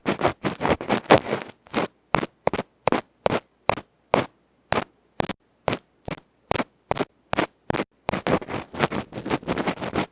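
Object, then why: Metal electret microphone capsule with felt face. A bamboo ear pick scratches in fast strokes across the felt face of a small metal electret microphone capsule. Loud, dry scratchy bursts rasp across the full range from low thump to bright hiss, dense and rapid at the start and end and evenly spaced in the middle. Each stroke stops dead with almost no ring.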